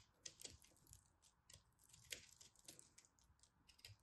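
A small knife blade cuts and scrapes crumbly soap from a solid green, white and orange pressed soap ball held in a hand with long red nails. The result is quiet, bright, dry crunching and crackling, with short, sharp, irregular ticks and scratches that fade almost instantly.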